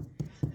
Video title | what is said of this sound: Assessing the Damaged Veneer | you hear a L that means it's solid right